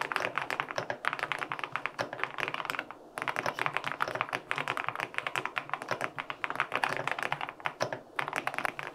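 Fingertips type rapidly on a white LINK65 mechanical keyboard with an aluminum case and white and pink plastic keycaps. Dense, short, bright clicks and clacks run continuously with almost no low end. A brief pause falls near the three-second mark before the steady typing resumes.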